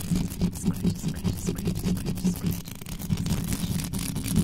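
Long acrylic nails scratch and brush rapidly over an uncovered metal mesh microphone grille. A dense, boomy scraping pulses in quick strokes, with a humming tone near 200 Hz and faint bright rasp above. It goes on without a break for the whole clip.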